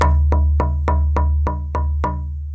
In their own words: And this piece is Sitka Spruce. And you can hear that it has a different kind of resonance, but this is also a really good piece of wood.